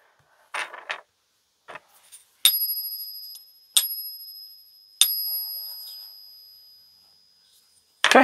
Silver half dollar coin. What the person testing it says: into my ears it sounds pretty fantastic